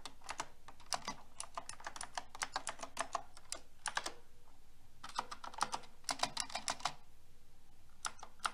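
A pink mechanical keyboard with round plastic keycaps and a metal frame is typed on with fingertips and long red nails, including the edge keys. Bursts of quick, bright clacky keystrokes come in steady runs with short pauses between them, each press sharp and short with almost no ring.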